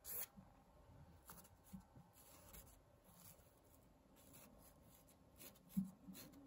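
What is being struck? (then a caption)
Woven fabric tapestry. Long painted nails and fingertips scratch and trace along the weave of a large, flat, thin pink and beige printed woven fabric tapestry with lettering. The result is a quiet, mostly low, soft rasping texture broken by brief brighter scratches, with a louder scrape near the end.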